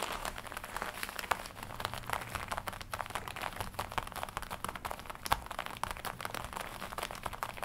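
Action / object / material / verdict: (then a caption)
tap / leather jacket / leather / none. Long nails tap and scratch across the chest and shoulder of a glossy black leather jacket being worn. A dense, steady stream of soft crinkling and crackling taps fills the clip, with a couple of sharper, louder taps standing out along the way.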